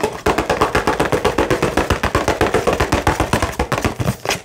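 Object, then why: Small cardboard box with plastic window. A small, hollow cardboard retail box for an Xbox controller, with a clear plastic window on top, is held and rotated while being tapped rapidly with fingertips and nails. About thirty fast, fairly even hollow taps follow one another with a mid-pitched papery knock and very short decay.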